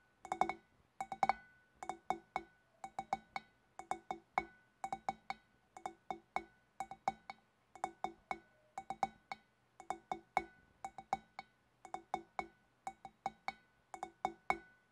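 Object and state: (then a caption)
Glass fish bowl. Long black nails on both hands tap the shoulders and neck of a large, empty, clear glass fish bowl. The result is quick, clustered clinks in a steady rhythm, each with a clear glassy tone around 780 Hz and a high, bright edge. Each clink dies away almost at once.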